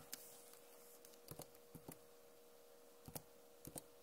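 Long nails tap on the plastic keycaps of a backlit Acer laptop keyboard, making sharp, bright clicks that come in loose pairs and small clusters with quiet gaps between them. A faint steady hum sits under the quiet background throughout.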